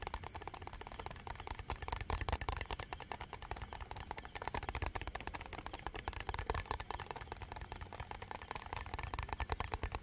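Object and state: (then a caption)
Plastic bottle. A small, hollow, white translucent plastic bottle with a cap and a red-and-white label is held in both hands and tapped and scratched quickly with the fingertips and nails. A dense, continuous stream of fast, dry clicks and scratchy taps with a soft low thump runs steadily for the whole ten seconds, each tap dying away almost instantly.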